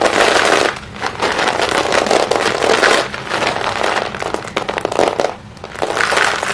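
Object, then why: Small broken chalk sticks in a plastic basin. Small pieces of white chalk stick in a green plastic basin are scooped up by the handful with both hands, squeezed and let fall. A dense, steady rattle of clinking and crumbling fills the clip, with short lulls between handfuls before the crackling swells again.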